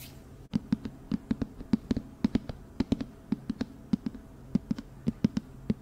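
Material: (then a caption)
Cardboard. A medium-sized, hollow, seemingly empty white cylindrical cardboard hat box, a flower box with a "Tailored" label, is held up in the hands and tapped with long nails and fingertips. A quick, irregular run of dry, hollow knocks follows, each with a sharp click and a short low resonant tone near 220 Hz that dies away almost instantly.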